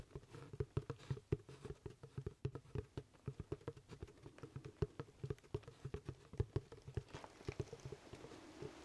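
Fingertips and nails tap and scratch the crown and brim of a hollow, empty black leather top hat held in both hands close to the mic. The result is a steady patter of short, dry, hollow thumps with a low body. Toward the end, a softer brushing scratch rises beneath the taps.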